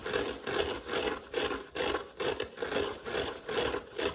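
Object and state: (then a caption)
Dry foam sponge with scouring pad, scratched. Fingertips scratch and rub a dry yellow foam kitchen sponge and its green abrasive scouring pad, held in the hand, with foam crumbs sticking to the fingers. About nine rough, rasping strokes swell and fade at a loose rhythm of roughly two per second. Each stroke has a dry scratchy texture with a bright hiss on top.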